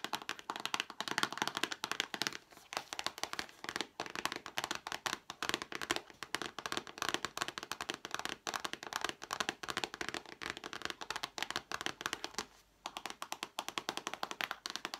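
A small printed cardboard card game box, held upright in both hands, is tapped rapidly with long black-painted fingernails. The result is a continuous run of crisp, dry clicks and taps with bright upper frequencies and almost no ring. There is a brief pause near the 12.7-second mark.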